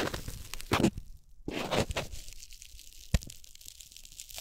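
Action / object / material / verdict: scrape / corn starch foam packing peanut / corn starch foam / none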